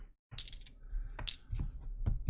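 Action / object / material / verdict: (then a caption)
drop / copper-nickel clad half dollar coin / copper-nickel clad / dull. A very white-looking 1974 half dollar is dropped to ring it, giving a few quick, short metallic clinks with a faint high ping and no lasting ring. The coin sounds dull, which marks it as a clad half rather than silver.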